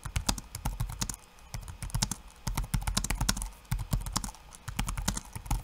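Bare fingertips type rapid taps on a backlit laptop keyboard with plastic keycaps. Each keystroke is a short, dry click with a soft low thump and a bright edge, dying away almost at once. The taps come in quick, uneven bursts with a few brief pauses.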